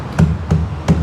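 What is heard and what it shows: Three knocks on a Proton Saga door panel fitted with two layers of sound-deadening material and covered with foam. Each knock lands as a dull, low thud that dies away quickly, with no hollow ring.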